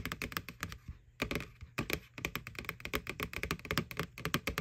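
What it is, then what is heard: Plastic candy bucket tapped with nails. Long nails tap rapidly on the side wall of a small, hollow white plastic McDonald's ghost Halloween candy bucket, right over its printed face. The sound is a quick, uneven run of dry, hollow plastic clicks with a bright edge, broken by brief pauses near the one- and two-second marks. Each tap dies away almost instantly.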